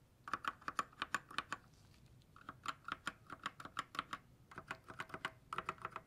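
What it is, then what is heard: Plastic mechanical keyboard. A single gloved fingertip taps individual keys and the spacebar on a white 60% GK61 mechanical keyboard with silver switches and plastic keycaps. About 29 short, crisp clacks with a bright click sit around a mid pitch, each dying away almost instantly, with a brief pause near two seconds.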